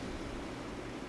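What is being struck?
Nothing is struck.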